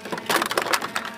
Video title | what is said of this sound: The most beautiful RC planes in the world | That's bits inside the model. It's actually quite broken inside the wing. All the ribs are smashed